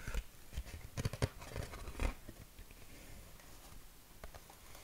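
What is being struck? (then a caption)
Corrugated cardboard sheet. A flat yellow corrugated cardboard sheet is held in both hands while fingertips and nails scratch and tap its ribbed surface. About seven short, dry, irregular taps sound over soft scratchy rasping, with quieter scratching toward the end.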